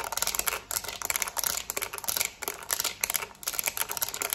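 A black plastic TV remote is held in both hands while long nails rapidly tap and scratch its rubber buttons. The result is a fast, dense run of sharp, bright clicks and scratchy rasps with almost no low end. Brief pauses break the steady flurry.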